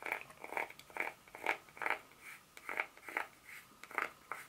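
Long pointed nails tap and scratch the segments of a solid, segmented dark chocolate bar with a corner broken off, held in hand. The result is a series of short, dry, bright clicks and scratchy ticks in an uneven rhythm, each dying away almost instantly, with no low end.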